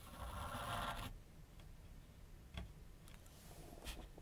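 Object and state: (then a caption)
Pencil drawing on paper over a board. A pencil tip draws light strokes across a large white paper sheet mounted on a flat board on a wooden easel. A steady, bright scratch lasts about a second, then fades into a soft, low hiss broken by a few short, quick scrapes.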